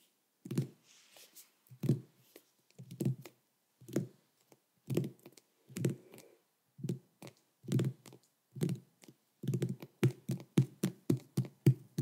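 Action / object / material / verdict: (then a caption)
tap / whole pumpkin rind / pumpkin rind / none. Fingertips and nails tap on the rind of a large, orange, uncarved pumpkin that is full of flesh and held up in both hands. The result is a series of short, hollow, low thumps with a faint click on top, each dying away almost at once. The taps come in scattered groups and turn into a quicker, steadier run near the end.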